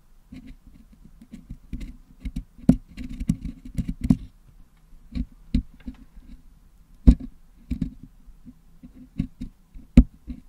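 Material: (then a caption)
Metal mesh. A wooden toothpick picks and scratches at the red area of red and green putty packed into the metal mesh grille of a Blue Yeti microphone, cleaning the putty out. Irregular, muffled, low thumps and soft scraping come in dense clusters and then sparser single taps, each dying away almost instantly with a dull, damped texture.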